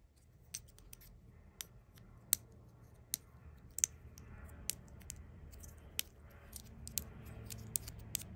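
A hollow, hard plastic Mini Brands replica of a butter spread tub with a yellow snap lid, just a few centimetres wide, is held in one hand and tapped and scratched with long acrylic nails. About fourteen sharp, bright clicks stand out over a soft, steady scratching. The sound is quiet and dry, with almost no ring after each tap.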